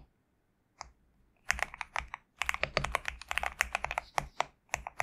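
A compact GMK67 mechanical keyboard with white and cream PBT plastic keycaps on a black case is typed and tapped with the fingertips of both hands. A lone click is followed by a short pause, then a rapid run of about two dozen crisp, bright clacks with almost no low-end thump. Each keystroke ends instantly with no ring.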